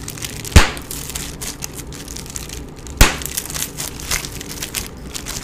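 A sheet of clear plastic bubble wrap with air-filled bubbles is held in both hands while fingertips squeeze and pop individual bubbles. Two sharp, loud pops with bright crackling stand out above steady crinkling and rustling of the plastic, each dying away almost instantly.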